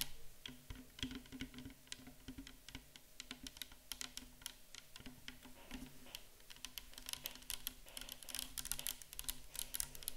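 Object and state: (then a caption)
Plastic bottle tapped with nails. Long acrylic nails tap rapidly on a tall, clear plastic bottle full of micellar water, standing upright. The taps are quick, dry, bright clicks with almost no ring, close together in a steady patter over a faint low hum. They grow denser and a little louder toward the end.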